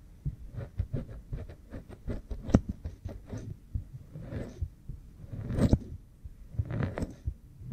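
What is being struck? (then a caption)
Oiled silicone ear model microphone. Fingernails scratch and rub behind the ear of an oiled pink silicone ear microphone while fingers rest on the other ear. Close, muffled, low-heavy scratching comes in quick brushy strokes, then swells into slower, louder rubbing passes with brief bright edges.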